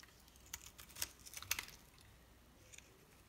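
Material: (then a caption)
Soap. A solid white bar of soap, held in the fingers, is scored and sliced into cubes with a metal knife blade. The blade makes a quick, irregular run of soft, crisp clicks and short scrapes, dry and bright with almost no low end, and each one stops at once with no ring. A cluster of louder cuts falls near the middle, then it tapers to a faint last click.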